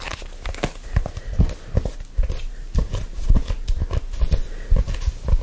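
A black faux-leather hardcover notebook is held close and gripped and rubbed with fingertips. The result is a steady run of soft, dull, low thumps and squeezes with a faint scratchy texture, each dying away almost instantly with no ring.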